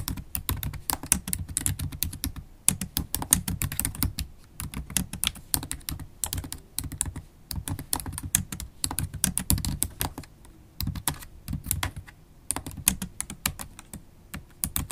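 Fast typing with long holographic acrylic nails on a MacBook Pro keyboard, black plastic keys set in an aluminum laptop body. Dense, rapid clicky taps with bright nail ticks over a low thudding body, coming in bursts with brief pauses and no speech.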